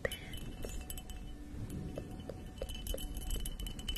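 Long acrylic nails tap and scratch the patterned surface of a hollow, empty purple embossed glass goblet held upside down near the microphone. Soft, scattered glassy clinks with a ringing tone around 500 Hz and bright ticks sit over a quiet, steady low rumble, with a scratchy texture between the taps.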